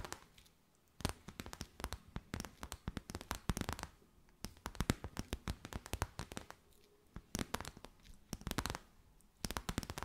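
A thin, transparent, crinkly clear plastic sheet or bag with a gold edge is held in both hands and crinkled and folded by fingers with long white nails. Bursts of sharp, dry crackling crinkles come in clusters, separated by brief quiet gaps, with broadband snaps reaching into the bright highs.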